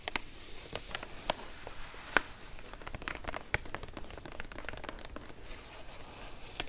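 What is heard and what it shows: Long acrylic nails and fingertips tap and scratch across a flat white padded paper mailer envelope (featherpost) resting on a cloth surface. The result is a dense stream of short, dry crinkly clicks and scrapes with bright, papery texture, a few sharper taps standing out from the steady rustle.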